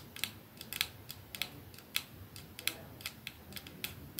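Fingernails of the hand holding a 212 capsule glass perfume bottle with a silver band in one palm tap rapidly on the bottle. About sixteen bright, sharp clicks come at irregular intervals, each with a brief glassy ring centered near 2.6 kHz that dies almost instantly, over a faint low hiss.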